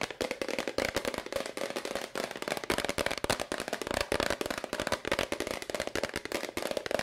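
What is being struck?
Plastic powder bottle.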